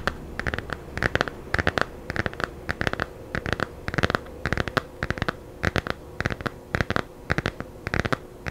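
Long nails scratch and tap the glossy cover of a small, solid, laminated hardcover children's picture book held close to the mic. The result is a steady, rhythmic run of short, dry bursts of scratching and clicking, each with a bright edge and almost no ring, over a quiet background.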